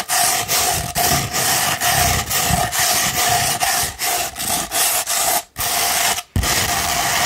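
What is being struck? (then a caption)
Rolled sandpaper tube. A sheet of sandpaper rolled into a tube is scratched with long pointed nails in quick back-and-forth strokes. The result is a steady, gritty, bright rasping broken by brief dips between strokes, with two short silences near the end.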